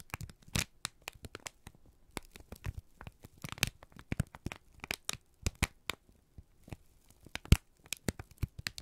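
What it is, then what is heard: Crumpled kraft paper. A wrinkled strip of brown kraft paper is squeezed and crinkled by both hands, giving a dense run of sharp, dry crackles and crinkles. The bursts are broadband with bright high edges and decay almost instantly, separated by brief quiet gaps.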